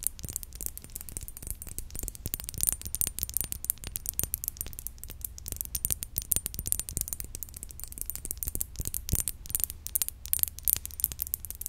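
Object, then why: Glass perfume bottle. Fingernails tap rapidly on a glass perfume bottle, giving a dense, continuous stream of sharp, bright clicks that stop instantly with almost no ring. A low, steady hum runs underneath, and the tapping holds an even pace and level for the whole clip.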